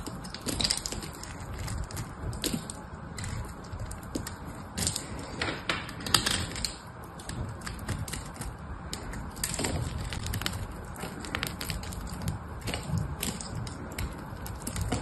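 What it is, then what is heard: Bar soap being shaved. A cream-colored solid bar of soap is held in the hand and shaved and scraped with a small metal knife, letting soap curls fall onto the table. The clip is a steady run of dry, crisp scraping and crackling, peppered with short bright clicks over a soft low rumble, with brief louder cuts now and then.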